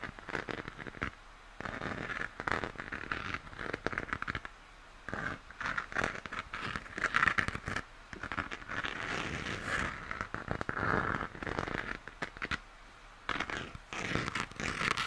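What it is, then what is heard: Plastic moon lamp. Fingernails scratch and tap the textured shell of a hollow plastic moon lamp, held upside down with its smooth base and hole facing up. Dense, dry crinkly scratching and crackling sits mostly in the upper mids, with brief quiet gaps between bursts of quick light taps.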